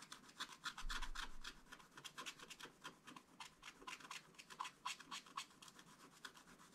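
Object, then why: Wax-coated scratch-art card scraped with a wooden stylus. A wooden stylus scratches the coating off a black wax-coated scratch-art paper page in short strokes while the other hand holds the book. Quick, dry rasping scrapes come in an uneven rhythm of about four per second, each a bright burst with a little scratchy high hiss. A soft low rumble rises briefly near the start.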